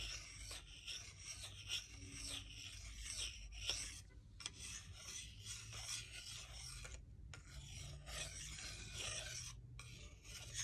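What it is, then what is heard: Wooden salad spoon rubbed on fork. A solid wooden salad spoon is rubbed flat against a wooden salad fork, making a steady, dry rasping scrape. The strokes are bright and high-pitched over a faint low hum, with a few brief pauses between passes.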